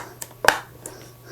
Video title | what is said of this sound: 슬레이트 치는 법 - 감정씬 - 엔드 슬레이트 - 싱크 맞추는 법 - 주의할 점 | 문제는 이렇게 하면 소리에 지장을 줍니다